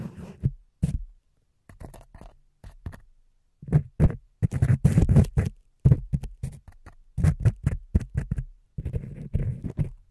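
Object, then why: Foam microphone windscreen. Fingertips of both hands rub and squeeze white foam windscreen covers on a microphone's capsules, producing close, muffled scratching and crackling bursts that are mostly deep and thumpy. The rustling comes in irregular clusters with short silent gaps between them.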